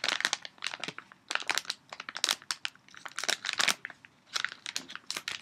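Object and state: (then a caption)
Crinkled plastic candy bag. An empty or nearly empty red and brown printed foil-lined plastic Dove candy bag is held up and crumpled and crinkled with both hands. Bright, crisp crackling comes in rapid bursts separated by brief pauses, concentrated in the high frequencies with almost no low end.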